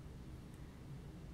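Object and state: Nothing is struck.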